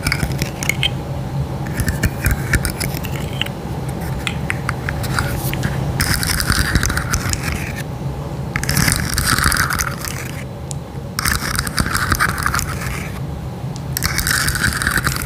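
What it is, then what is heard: Plastic articulated fidget slug. A hand-sized rainbow plastic fidget slug toy with articulated segments is bent and clicked while long nails scratch along its ridges. Dense ratchet-like clicks and scratchy bursts come in waves with brief quieter gaps, over a steady low rumble underneath.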